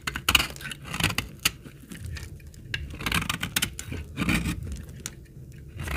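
A utility blade cuts shavings from the edge of an old, dry, solid, dark brown, hard laundry soap bar held in the hand. Crisp, bright scraping and crackling bursts come in uneven strokes over a faint low rumble.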